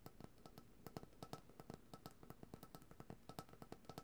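A white, opaque, cylindrical plastic coconut oil jar with a lid is held in both hands and tapped with long, dark-painted nails and fingertips. The taps come as a quick, uneven stream of short, dry clicks with a soft low thud. Each tap has a faint, brief ring and dies away almost at once.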